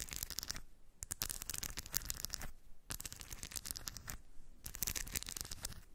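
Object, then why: Steel ball bearings in a cork dish. Long white nails scratch and rub a small round cork dish of shiny steel ball bearings. The result is bursts of bright, gritty rattling and clicking as the metal balls shift against each other, separated by brief quieter pauses.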